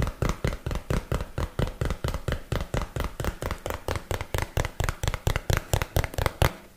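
A small, hollow, printed cardboard box that appears empty is held in one hand near the mic and tapped and knocked with the fingertips and nails of the other hand. About 31 dull, hollow, bass-heavy knocks come in a loose, uneven rhythm, each dying out almost at once.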